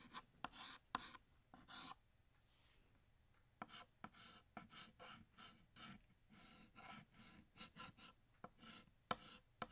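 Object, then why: Chalk stick on a chalkboard. A stick of blue chalk held in the fingertips scratches across a large, flat, solid black chalkboard, drawing a bottle in short strokes. Bright, raspy scratching bursts come in quick succession, broken by a quiet pause of about a second and a half early on, then continue in a steady rhythm to the end.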